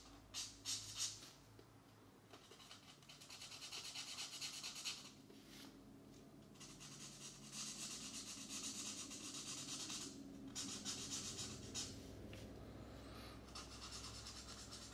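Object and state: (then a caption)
Paper coloring book page. A felt-tip marker rubs and scratches in back-and-forth strokes across the paper page of an open coloring book lying flat on a desk, coloring the outer ring. The strokes come as bright, hissy scratching bursts separated by brief pauses, over a faint low hum.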